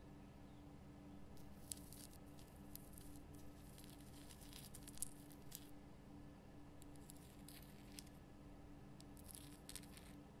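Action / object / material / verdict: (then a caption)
scrape / rock salt lamp / rock salt / none. Long painted fingernails of both hands scratch over the rough natural crystal surface of a large pink Himalayan rock salt lamp, a solid block lit from inside. Quiet, crisp, bright scraping and light tapping come in short bursts over a steady low hum, with a few sharper clicks standing out.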